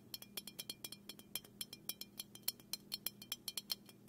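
Fingernails tap repeatedly on the side and bottom of a small, hollow black aluminum aerosol can held in one hand, making 28 quick, bright metallic clicks. Each tap is short with a thin, high ring that dies almost at once, over a faint low hum.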